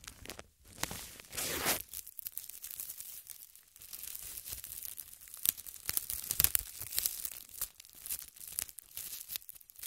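A large, thin, transparent plastic bag, empty and hollow and draped over a tripod microphone, is scratched and crinkled with long red nails and fingertips. The result is a dense stream of quiet, bright crinkling and tearing-like crackles, with sharp high snaps and little low end.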